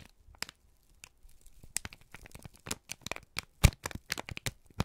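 A wrinkled strip of crumpled brown kraft paper is squeezed and crinkled with both hands. Sparse dry crackles at first give way to denser, louder bursts of bright crinkling and crunching, with short sharp snaps toward the end.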